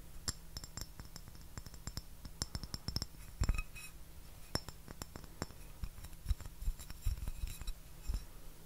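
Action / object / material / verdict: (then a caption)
tap / porcelain saucer / porcelain / none. A thin, flat white porcelain saucer with a floral gold rim is held upright and tapped and scratched with fingernails. Quick, bright clicks and clinks come in an irregular stream over a steady low hum, each tap dying away almost at once.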